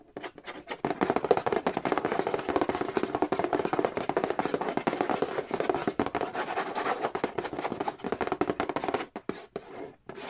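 Fingertips rapidly tap and scratch the glossy lid of a hollow cardboard Monopoly board game box. The result is a dense, dry stream of short clicks and papery scraping centered in the midrange with little low end, thinning to a few scattered taps in the last second.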